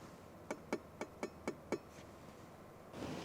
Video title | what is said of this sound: ملكة التفاصيل - رولز رويس جوست الجديدة - Rolls Royce Ghost 2021 | the speakers are actually metal if you flick it